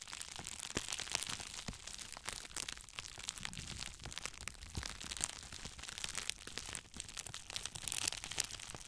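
Two clear plastic bubble wrap cones are held in both hands and squeezed and crinkled with the fingers in front of the microphone. A steady stream of bright, sharp crackles and crinkling snaps runs throughout, concentrated in the high range with little low end and no ringing after each snap.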